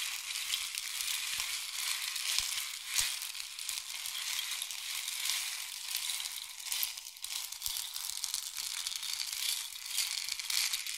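A long, hollow, painted wooden or bamboo rain stick is tilted from diagonal to horizontal, and its filling cascades through it. It makes a steady, bright, hissing patter of tiny grains with no low end and a few faint clicks, lasting the full eleven seconds at an even, soft level.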